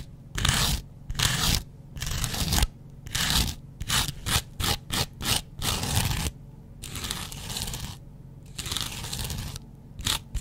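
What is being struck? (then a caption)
Foam kitchen sponge scratched with a razor blade. A double-edge razor blade is scratched across a yellow porous foam kitchen sponge. Repeated bursts of harsh, bright scraping and tearing noise with a low, rough body come in quick strokes. Short pauses separate the strokes, and the longer passes near the end are softer and more drawn out.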